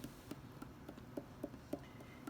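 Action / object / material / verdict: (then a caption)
tap / leather-hard clay bowl on a potter's wheel / clay / thick. Eight short, dull taps are struck on the centre of a leather-hard clay bowl's bottom as it sits on a potter's wheel during trimming. Each knock is soft, low and muted, dying away almost at once. The sound shows the bottom is still too thick, so more clay needs to be trimmed away.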